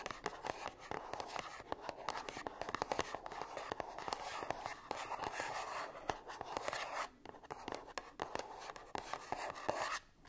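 Long nails scratch and tap the surfaces of a small, closed, gold-printed cardboard perfume box held upright. A steady, papery scratching runs through the clip, broken by many quick, sharp taps with a dry, bright edge and little ring. The scratching briefly drops away twice near the end.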